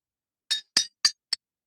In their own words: That's what it sounds like when you tap on a tooth that has been ankylosed. It literally sounds completely different and you can hear it throughout the entire room.